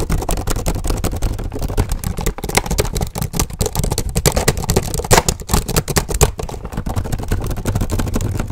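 Both hands type fast with the fingertips on the keyboard of an open black plastic HP laptop. The result is a dense, continuous run of rapid clicky taps over a low rumbling background.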